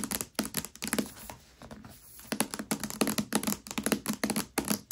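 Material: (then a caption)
Paper. Long nails on both hands tap and scratch across the glossy paper dust jacket of a Mistborn hardcover book lying upside down and flat on a velvet cloth. Quick clicky taps come in clustered bursts with a hollow resonance around 220 Hz and bright crisp edges, and a quieter stretch of soft scratching falls between about 1 and 2.3 seconds.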